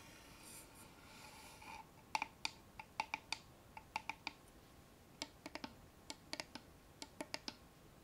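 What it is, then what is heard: Small wooden box tapped and scratched. Fingernails rub and scratch softly along the wooden sides of a small, closed, hollow brown wooden chest-style box with a metal latch, held up in the hands. They then tap it in 21 quick, separate clicks. Each tap is dry, bright and hollow, with a faint short ring around 875 Hz that dies away almost at once.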